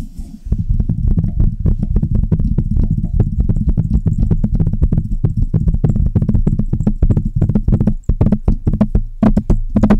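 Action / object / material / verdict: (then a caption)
tap / metal microphone body and mesh grille / metal / none. Long red nails and fingertips rapidly tap and scratch the mesh grille and hollow metal body of a large silver Blue Yeti style microphone. The result is a dense, continuous stream of deep, boomy thuds with short scratchy clicks, closing with a few sharper, brighter taps.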